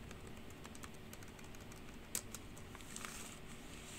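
Long pink nails type fast on the hollow keys of a black plastic computer keyboard. Quick, bright clicks and clacks ring out over a steady low background hum, with one sharper, louder clack about halfway through.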